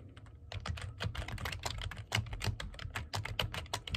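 Fingertips type fast on the keys of a black plastic computer keyboard. The result is a rapid, continuous run of sharp, bright clicks and clacks, each dying away almost instantly, over a steady low hum.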